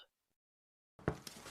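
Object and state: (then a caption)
Hollow-sounding, fully baked bread loaf. A freshly baked loaf of white crest bread, just out of the oven, is tapped twice. Each tap gives a short, hollow, low thump, showing the loaf is cooked through.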